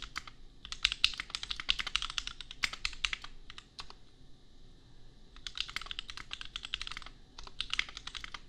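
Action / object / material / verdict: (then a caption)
tap / plastic mechanical keyboard / plastic / none. Fingertips type on a compact custom mechanical keyboard with Gateron Milky Yellow switches and red and pink plastic keycaps. Bursts of quick, bright plastic clacks come in rapid runs separated by short pauses, and each keystroke decays almost instantly.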